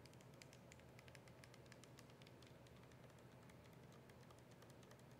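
Long nails tap on the plastic body and label of a capped, partly filled plastic soda bottle as it is held and turned. Quick, light, bright clicks patter steadily over a continuous low rumble, staying soft throughout.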